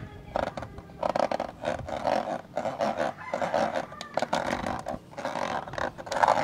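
Fingertips and short nails scratch and rub inside the hollow, black plastic rectangular lens hood of a professional camcorder, which is held in one hand. The result is a dense run of raspy, hollow scratching bursts centered in the midrange around 900 Hz, with brief pauses between strokes and almost no low rumble.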